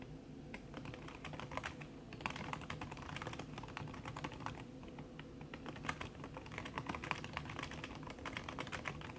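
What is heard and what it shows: Fingertips and long red nails type fast on a backlit aluminium laptop keyboard whose plastic keys sit under a red silicone cover. The result is a steady stream of short, soft, muffled clicks with a low rumbling bed underneath.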